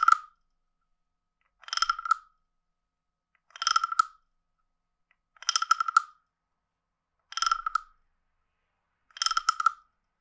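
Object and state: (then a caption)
Wooden frog guiro. A stick is scraped along the ridged back of a hand-sized, hollow, carved wooden frog guiro. Six separate scrapes, about two seconds apart, each give a quick ratcheting rattle of tiny clicks. The hollow body rings with a woody croak around 1.3 kHz and bright overtones above it, stopping dead between strokes.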